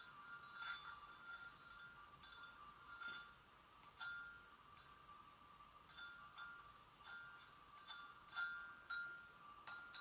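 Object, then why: Porcelain gravy boat. Slow single taps with long nails on the rim of an empty, hollow white porcelain gravy boat ring out as soft, bell-like tones centered near 1.4 kHz with bright upper overtones. Each tap rings briefly before fading into the next.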